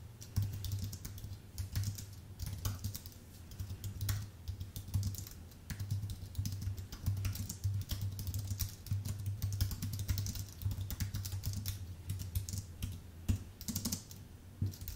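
Fingertips type continuously on a full-size white Apple Magic Keyboard with an aluminium base and plastic keys. Rapid, short, bright key clicks fall in uneven bursts over a steady low hum near 100 Hz. Each click dies away almost instantly.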